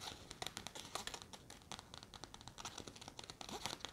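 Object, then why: Nylon fabric backpack. Long red nails scratch the fabric and zipper pocket of a large, hollow grey nylon backpack held close up. The result is a quiet, dense run of quick, bright crinkly scratches and rasps with very little low end, each dying away almost at once.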